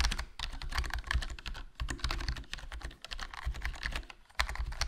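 Fingertips type continuously on a HyperX Alloy Core RGB plastic membrane gaming keyboard with a foam mod, a hollow case, a black plastic body and black plastic keycaps. The rapid keystrokes give dense, soft clacks with a deep, muted low thump under brighter key taps, and there are brief pauses between bursts.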